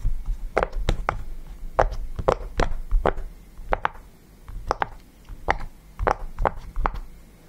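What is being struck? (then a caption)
Silicone push-pop fidget toy. Fingertips press the bubbles of a yellow round silicone push-pop fidget toy resting on a table, making 15 soft, dull pops at an uneven pace. Each pop is a short, muffled midrange thunk with a low thump underneath and almost no ring.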